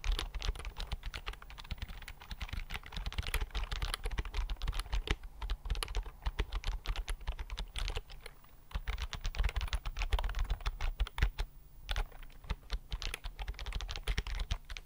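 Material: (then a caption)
Plastic. Fingertips type rapidly on a slim, hollow white plastic Miniso keyboard with low-profile keys, held upright in front of the mic. The result is a dense, steady stream of quick, clicky taps with a hollow, low thump beneath them. The typing pauses briefly around the 8- and 12-second marks.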